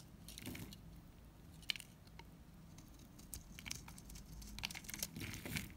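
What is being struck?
Bar soap scraped with a knife blade.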